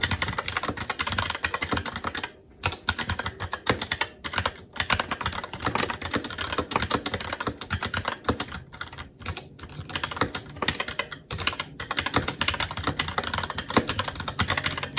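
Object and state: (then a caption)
Plastic mechanical keyboard. Fingertips of both hands type continuously on a SteelSeries Apex 7 TKL mechanical keyboard with red linear switches, plastic keycaps and a metal top plate. A rapid, steady stream of short, bright plastic clacks with a soft low thump under each keystroke, broken by a few brief pauses, and each tap dies away almost at once.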